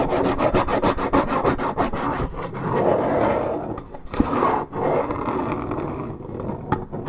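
Long red nails scratch and rasp across the printed surface of a hollow Minute Maid 1.75 L coated paperboard orange juice carton. A rapid train of dry scraping strokes comes in the first two and a half seconds. Slower, broader rubbing follows, broken by a few sharper taps.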